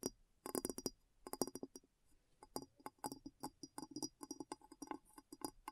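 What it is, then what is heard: Glass bowl. Long nails tap the base and sides of a clear, hollow glass bowl resting upside down, producing quick bursts of light clinks. Each tap is a short, dry click with a low hollow tone near 266 Hz and bright, high glassy overtones that die away almost instantly, with brief pauses between flurries.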